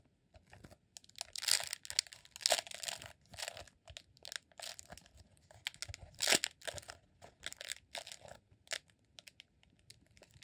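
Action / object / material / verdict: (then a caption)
scrape / rolled beeswax sheet / beeswax / none. A green, honeycomb-textured rolled beeswax sheet, formed into a solid cylinder, is held in one hand and scratched and rubbed with fingertips and nails. The result is a series of short, bright, crinkly scratching bursts that start and stop in quick clusters with brief pauses between, with almost no low end.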